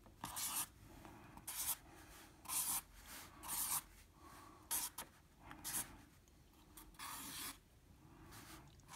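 A black felt-tip marker loops and scribbles across a flat 9x12 in. drawing paper sheet held in place by the other hand. The felt tip makes bright, hissing rub strokes in irregular bursts, separated by quiet pauses with only a faint low background.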